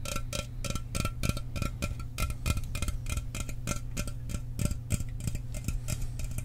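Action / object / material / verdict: tap / aluminum soda can / aluminum / none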